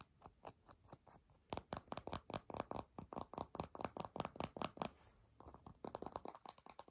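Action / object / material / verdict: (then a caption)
tap / small soft plastic squeeze tube / plastic / none. Long nails tap and scratch a small, hollow, mint-green soft plastic squeeze tube while its cap is handled. The result is a quick, uneven run of dry, clicky taps and scratchy strokes centered in the midrange, with a faint hollow knock. The sounds build into dense bursts, briefly fade to a lull near the fifth second, and then pick up again.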